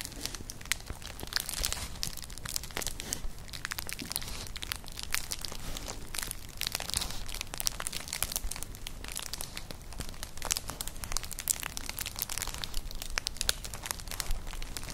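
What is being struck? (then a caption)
Woven straw clutch bag. A flat, colourful, hollow woven straw clutch purse is scratched with long nails. It makes a steady stream of fast, dry crinkling scratches with bright, crisp high-end detail and a soft low rumble underneath. Each scrape dies away instantly.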